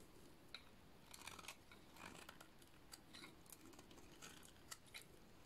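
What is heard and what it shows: A utility-knife blade shaves and cuts a solid, dry purple bar of soap, giving quiet, repeated crisp scraping strokes. Each short, dry crackle is bright and fades almost instantly over a low, steady background hush.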